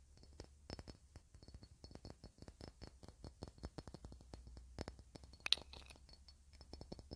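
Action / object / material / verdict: tap / faceted cut-glass ornament / glass / none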